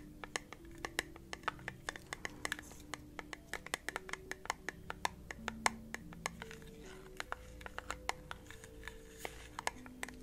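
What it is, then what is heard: Small glass candle jar. Fingernails tap and scratch the sides and lid of a small, round, clear glass candle jar held close up. The result is a rapid run of dozens of quick, bright clicks and taps with faint scratching. Low sustained tones, possibly soft speech, sit underneath.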